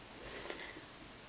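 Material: Nothing is struck.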